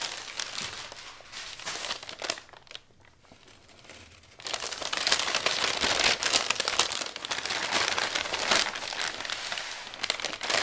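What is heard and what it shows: An open palm and fingertips smooth and fold a flat, crumpled sheet of brown kraft packing paper on a wooden table. Bright, dry crinkling crackles in uneven bursts, then drops to a near-quiet pause. Dense, louder rustling crinkles follow and carry on to the end.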